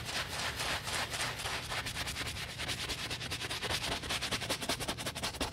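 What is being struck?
Leather boot scrubbed with a bristle brush.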